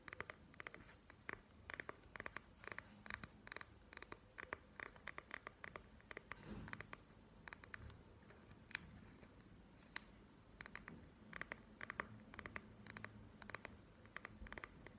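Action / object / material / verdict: tap / gel-bead eye mask in a clear plastic shell / plastic / none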